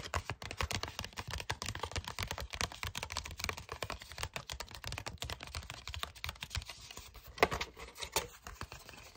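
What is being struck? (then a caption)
Card-stock paper envelope. A flat red card-stock paper envelope with white lettering is tapped and scratched with fingertips and short nails. The result is a dense, steady stream of quick, dry papery taps and scratchy rustles with a bright edge, each one dying away almost instantly. A slightly sharper tap stands out near the end.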